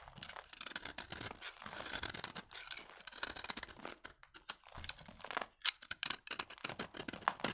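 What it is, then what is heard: Dry bar soap. A utility knife blade scrapes along the side of a solid, dry, vintage orange-beige soap bar with an embossed logo, shaving off crunchy curls. Dense, bright, crackling scrapes come in quick bursts, then break into sharper, separate crunches toward the end.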